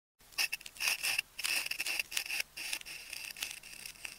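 A hand-sized solid ball of wound pink, white and orange adhesive tape is held in one hand while its surface is scratched and scored with the tip of a metal craft knife. A series of short, bright, squeaky scraping strokes is heard, with a thin whistling tone around 2.7 kHz and almost no low end.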